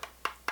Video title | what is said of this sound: Smok H-Priv 220W TC Review - Hidden Firing Bar | the rattle there from that battery door making contact with the base of the mod itself